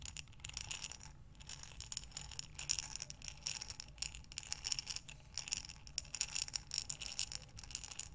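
A glass mason jar with a metal lid, filled with buttons, is rotated sideways in both hands so the buttons tumble against the glass. This makes a steady, bright clicking rattle of many quick, dry ticks with no ring, swelling and easing as the jar turns. A faint low rumble sits underneath.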